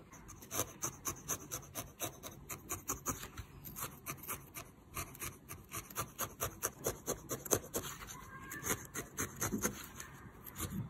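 A small, solid lavender and yellow needle-felted wool figure, held by the fingertips, is poked repeatedly with a felting needle. It makes a steady series of about 35 soft, dry, rasping crunches with a bright, scratchy edge. Each jab is short and dies away almost at once.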